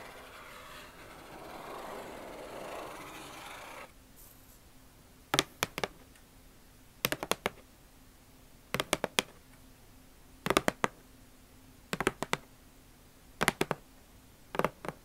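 Long nails scratch along the lid of a closed, hollow red Nike cardboard shoebox, making a steady, bright rasping hiss for about four seconds. They then tap the lid in quick clusters of sharp, dry clicks spaced through the rest of the clip, each cluster dying away at once.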